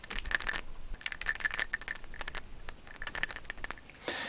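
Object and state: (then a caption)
Toy figure arm with loose perished rubber rattling inside. The hollow plastic bicep of a vintage Action Man Tom Stone action figure is shaken, producing a dry, bright, clicking rattle in quick bursts. The rattle comes from brittle, perished rubber band remnants loose inside the arm, a fault that must be removed.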